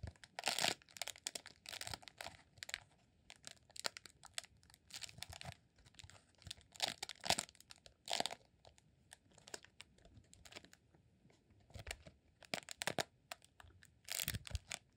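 Fingertips tap and scratch along the textured surface of a green rolled honeycomb beeswax candle. The result is bursts of crisp, bright, crinkly scratching and light tapping, separated by quiet pauses.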